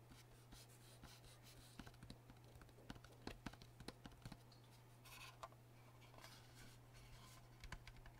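Fingertips and nails of both hands tap and scratch the surface of a rectangular, solid, wet King sharpening stone resting on cardboard, with an orange knife lying untouched beside it. Quiet, dry scratching runs throughout, broken by sharp, short taps over a steady low hum.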